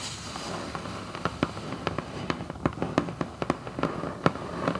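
Long acrylic nails tap quickly on a hollow red Vans cardboard shoebox lid, first with both hands and then with one. About eighteen short, dry clicks with a hollow, papery body stand out over a steady low hiss. Each click dies away almost instantly.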